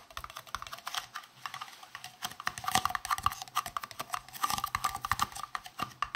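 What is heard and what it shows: A hollow green translucent plastic round case is tapped rapidly on its side and face with fingertips and nails. The taps make a steady stream of short, bright clicks, somewhat like typing, each fading almost at once with a faint hollow tone near 760 Hz.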